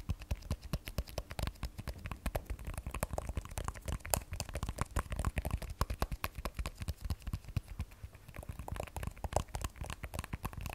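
An iPhone 12 Pro, held sideways in both hands, has its glass back and steel frame tapped with long nails. The result is a quick, continuous run of short, dry clicks and taps with almost no ring, mostly low in tone.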